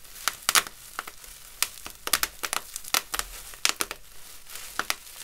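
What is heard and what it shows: A clear plastic bubble wrap sheet with hollow air bubbles is bunched, crumpled and rubbed by gloved fingertips and palms. The result is bright, dry crinkling with a quick series of sharp, high crackles and squeezes over a soft rustling bed, each snap dying away almost instantly.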